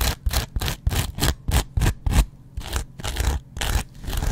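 A metal double-edge razor blade scratches and scrapes a hand-sized, dry kitchen sponge made of yellow cellulose foam with a green scrub pad layer, first on the foam and then on the green pad. A quick, uneven series of short, raspy strokes each carries a bright, hissy scratch over a heavy low rumble and ends abruptly.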